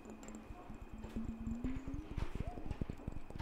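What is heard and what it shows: A clear glass mason jar with a metal screw lid, partly filled with water, is held sideways and tapped on its glass body with the fingertips. Quick, uneven taps land as short, dull low knocks. A faint ringing tone slides slowly upward beneath them as the water shifts.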